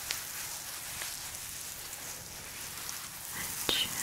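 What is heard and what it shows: Long nails scratch and tap a flat, book-sized mint green fluffy faux fur pouch with a "chill pill" patch. The result is a quiet, steady, bright hiss of brushing fibers, broken by a few sharp, light ticks, the clearest one near the end.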